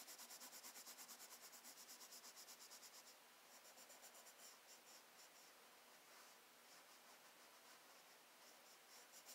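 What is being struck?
Paper sketchbook page rubbed with a wooden colored pencil.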